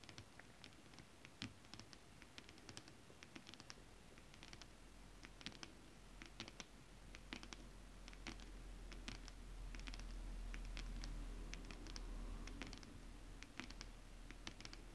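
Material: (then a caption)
Synthetic fabric. Long acrylic nail tips scratch and tap a flat sheet of shiny holographic mermaid-scale-printed fabric with both hands, making quick, irregular clicky taps and dry scratching strokes. The sharp, bright ticks sit over a low, steady rumble that swells in the middle of the clip.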